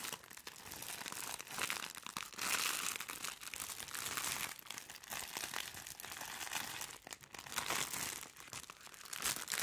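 A white, medium-sized, soft plastic-wrapped package is crumpled and squeezed by gloved hands right next to the microphone. The result is a steady stream of bright, dense crinkling with louder crunchy bursts throughout and almost no low end.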